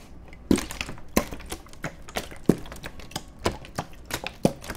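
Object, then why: Empty plastic water bottle. An empty, hollow, clear plastic (PET) water bottle is held horizontally in both hands and squeezed and crinkled with the fingertips close to the microphones. Sharp, bright crackling pops arrive at irregular intervals, a few much louder than the rest, over a soft, continuous crinkle. Each crack dies away almost instantly.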